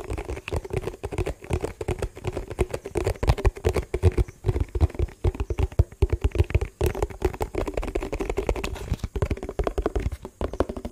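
A hollow, empty yellow printed plastic food tub is held in the hands and tapped and scratched with fingertips and nails for about 11 seconds. Rapid, dull, hollow knocks with a low thump and almost no ring run in quick uneven bursts, mixed with soft scratching between them.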